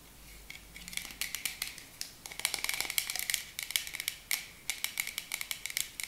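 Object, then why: Plastic spray bottle tapped with fingernails. Long acrylic nails tap rapidly on a tall, dark plastic body mist spray bottle with a pink cap. The taps are quick, bright and clicky, with a thin resonance around 2 kHz and almost no low end. Each tap dies away almost instantly.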